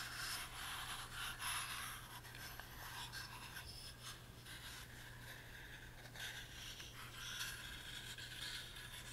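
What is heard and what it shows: Fingertips rub across the carved top and sides of a tiny, hollow, closed wooden music box with a laser-cut pattern, held in the hands. The result is a quiet, continuous, bright scratchy rubbing with brief louder swipes over a steady low hum.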